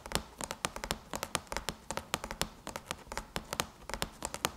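Long chrome-polished nails on both hands tap rapidly on the closed lid of a silver aluminum MacBook, a thin hollow shell over the laptop body. The clicks are quick, sharp and bright, each dying away almost instantly, in an uneven, fast stream with a light hollow tick.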